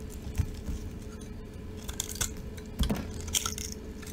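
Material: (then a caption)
Soap. A rectangular, solid, cream-coloured dry soap bar with pink, red and green glitter on top is held in the palm and scraped and shaved with a metal utility knife blade, so flakes fall off. Dry, crunchy scrapes and bright, crisp ticks come in short bursts over a low, steady hum, with a few sharper crunches standing out.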